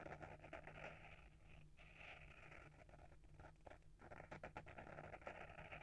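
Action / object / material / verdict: scrape / small hardcover book with paper-wrapped board cover / paper, cardboard / none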